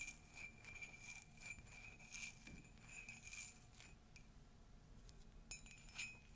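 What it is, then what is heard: Ceramic mug tapped and scratched with nails. Long nails tap and scratch the outside and rim of an empty, hollow pastel ceramic Dumbo mug. Quiet, bright clicks and scrapes carry a faint high ringing tone that dies away quickly after each touch.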